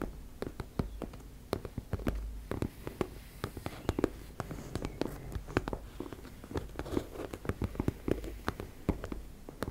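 Long red nails scratch and tap across a teal embossed-fabric makeup bag in a quick, irregular stream of short, dry clicks. Each tap dies out at once over a soft, low rustling scrape that stays quiet throughout.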